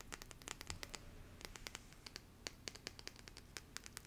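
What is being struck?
Stack of printed cardstock cards scratched with fingernails.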